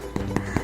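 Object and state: Hollow-sounding baked loaf (done).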